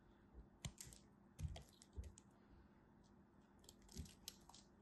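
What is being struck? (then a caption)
Solid bar of soap cut with a knife. A small solid blue bar of soap, held in a hand with long white nails, is carved and scraped with a black craft knife blade so chips crumble off. Quiet, short crisp scrapes and crackles with bright edges sit over soft low thumps, coming in separate bursts with brief pauses between them.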